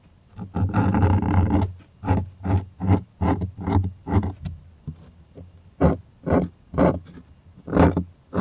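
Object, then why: Stretched cotton art canvas on a wooden frame. Fingers rub and scratch a stretched white cotton art canvas on a wooden frame, starting with one long, dense rub and then moving into a steady series of short, separate scratching strokes. Each stroke is a dry, papery scrape over a deep, hollow low-end resonance from the taut canvas.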